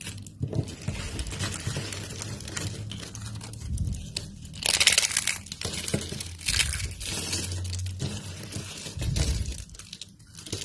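Fingertips crush and snap a pile of thin, stiff, translucent amber dry soap strips and sheets. Dense, dry crunching and crackling bursts fill the clip, bright and brittle on top over a low rumble, with the loudest flurry around the middle.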